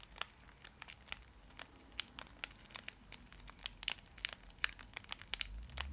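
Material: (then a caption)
Foil. A small, full Fry's Turkish Delight bar in a shiny foil wrapper is held in the hands and scratched and crinkled with long acrylic nails. Quick, bright crackles and sharp clicks come in a steady irregular stream over a faint low hum, each snap dying away almost instantly.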